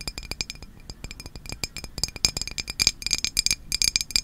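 A hand-sized glass Izze sparkling water bottle, partly filled with liquid and held close to the camera, is tapped rapidly with long nails on its sides and label. The result is a quick run of bright, short clinks and clicks with a high glassy ring that dies away almost at once. The taps start lighter and grow louder and denser toward the end.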